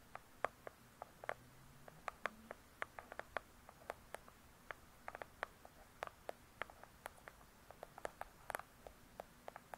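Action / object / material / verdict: tap / hardcover book with glossy cardboard cover / cardboard / none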